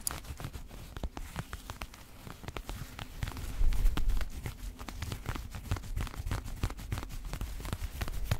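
Fingertips and nails of both hands scratch the yellow and white thread embroidery on the front chest panels of a worn black chapan coat. Dense, irregular scratching produces quick, sharp ticks over a soft rustle, swelling louder for a moment near the middle before settling back.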